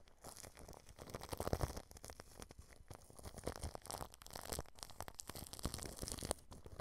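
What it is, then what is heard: Plastic cling film on a microphone, brushed. A paintbrush tip rubs clear plastic cling film wrapped over a microphone's mesh grille, producing continuous close, crackling crinkles with soft brushing scrapes. The sound is dense and uneven, with frequent sharp crackles and a heavy low rumble from the film pressing against the grille.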